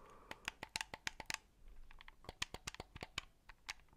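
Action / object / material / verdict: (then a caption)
tap / plastic game controller / plastic / none. Fingertips press the buttons and tap the casing of a white hollow plastic Xbox controller held against the mic. About nineteen quick, dry, bright clicks and taps sound with no ring, and a soft rustling hiss fills a short pause midway.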